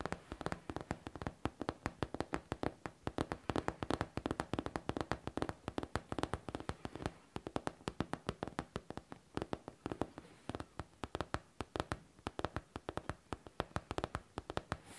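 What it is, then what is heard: Faux leather backpack. Long painted nails tap and scratch the smooth, curved surface of a hollow pink faux leather backpack. The result is a steady stream of quick, dry, close-up clicks that die away almost instantly, with a soft low body under each tap and faint scratching between them.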